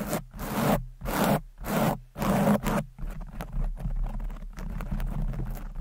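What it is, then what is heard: Foam microphone windscreen being scratched. Long nails scratch the sides of a red foam windscreen covering a microphone, making four broad, rasping strokes with brief pauses between them. The scratching then turns quicker and denser, becoming a fast, steady rustle with a heavy low rumble.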